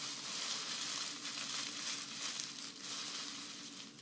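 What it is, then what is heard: Grass skirt strands rustled. A thick bundle of green grass-skirt strands, dried grass or raffia, is held up while fingertips and long nails rub and scratch along them. The result is a steady, dense, bright rustling and crackling with little low end.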